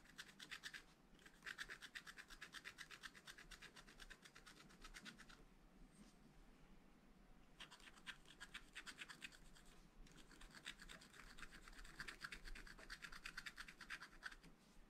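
A wooden stylus scratches small strokes into a black coated scratch-art paper page in a spiral pad resting on a table. Quick, dry, rasping scratches come in two long runs, with a quieter pause in the middle. The strokes have a bright, papery hiss centered around 1.6 kHz.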